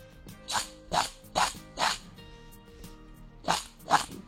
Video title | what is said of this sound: ३ महिने टिकणारी कुरकुरीत मसाला डाळ - लहान भुकेसाठी चटपटीत मसाला चणा डाळ - Farsan Recipe - Aaji | किती कुरकुरीत आवाज येतो इथे